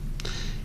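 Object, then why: Bronze skull ornament. A bronze skull, being lent out to replace a stolen stainless steel one, is tapped once. It gives a single soft, muted tap with a brief bright click and a short ring that fades within about a fifth of a second over a low, steady background hum.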